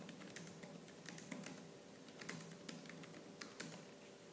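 Fingertips with purple nails type fast and hard on a laptop keyboard with black plastic keys. Quick, bright plastic clicks and taps come in rapid bursts over a faint steady hum, each click dying away almost at once.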